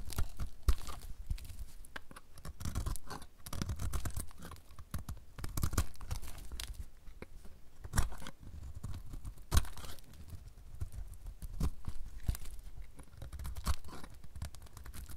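A solid, dry, dark blue bar of soap is held in the hand and scraped and cut with a utility knife blade, shaving off crunchy flakes. The clip is a steady run of dry, crackly scraping and crunching strokes, with sharper cracks and dull low thumps breaking through now and then.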